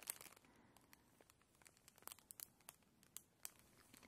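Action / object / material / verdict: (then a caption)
scrape / plastic bag with contents / plastic / none. Long nails and fingertips scratch and crinkle a labelled transparent plastic bag with contents inside. Quiet, bright crinkling and scratchy rustling are punctuated by sharp little ticks and crackles that stop instantly, with almost no low end.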